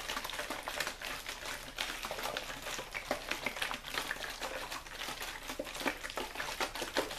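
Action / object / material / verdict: scrape / thin plastic water bottle / plastic / none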